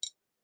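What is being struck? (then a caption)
Pressed glass footed candy dish. A pressed glass footed candy dish with suns on its lid is tapped once to check its material, giving a short, bright, high-pitched tick that fades within about a tenth of a second. It sounds like glass, not plastic, and the dish is identified as glass.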